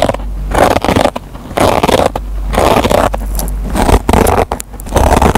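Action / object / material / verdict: scrape / kitchen sponge with nylon scouring pad / nylon fibre / none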